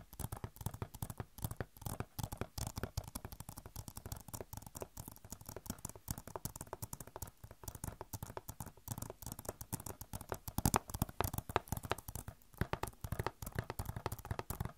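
Long nails scratch and tap a hollow plastic Overwatch game case, making a dense, quiet stream of rapid clicks and scratchy patter. The taps are short and dry with a low, hollow body and little ringing, and they keep up steadily throughout with a few louder bursts toward the end.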